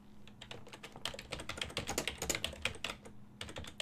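Fingertips with medium nails rapidly press the keys of a full-size black and silver plastic desktop keyboard with a hollow housing. A steady stream of bright, sharp typing taps is heard, each dying away almost instantly, over a faint low hum.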